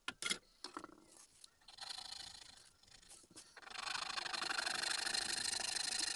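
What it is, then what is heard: Small wooden carving being filed. A small, solid, pale wooden tengu mask keychain blank is held flat on a mat and filed, first with a large flat metal file and then with a thin needle file. A few sharp taps and short, uneven scraping strokes come first, then a steady, bright, high rasping continues to the end.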